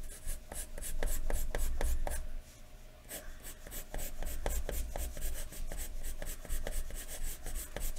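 A wooden graphite pencil is scratched rapidly across a large thin white paper sheet lying flat on a wooden desk, making repeated hatching strokes. Quick, bright, scratchy rasps follow one another in a loose rhythm over a steady low hum, easing briefly to a quieter pause just before the middle before resuming at a steady pace.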